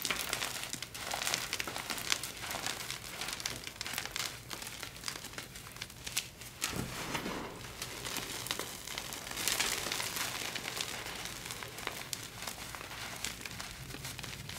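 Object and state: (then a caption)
Crushed gym chalk powder. Both hands dig into a loose pile of crushed, orangey red dyed SPRI gym chalk (magnesium carbonate) powder and small crumbs, scooping it and rubbing it between the fingers. A steady, bright, gritty crinkling and crunching runs throughout, with dense tiny crackles and soft swells of hiss that have little low end.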